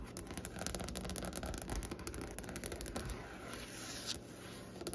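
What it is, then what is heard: Wooden tabletop. Long painted nails of both hands tap and scratch a large solid light-colored wooden table or desk surface with visible grain. The result is a continuous run of quick, soft clicks and dry scraping with a low, dull body and almost no ring.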